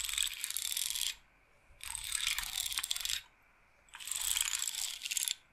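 A handheld wooden bead massage roller, a rectangular wooden frame strung with rows of small wooden beads, is held up and handled with long painted nails as the beads are rolled and shaken. Three bursts of bright, dense, high-pitched wooden clattering are heard, each lasting about a second or more, with short quiet gaps between them.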